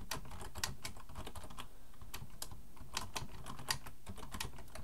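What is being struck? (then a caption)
Plastic computer keyboard. Fingertips of both hands type on a black plastic full-size computer keyboard resting on a wooden desk. Quick, bright plastic key clicks tap out in an uneven, steady stream over a soft low background hum, with a few sharper keystrokes standing out.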